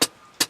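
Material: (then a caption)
Metal. Two short, bright metallic taps on a dry powder fire extinguisher's metal canister, each decaying quickly. The powder inside is loose, not packed down, so the canister doesn't sound like a solid can.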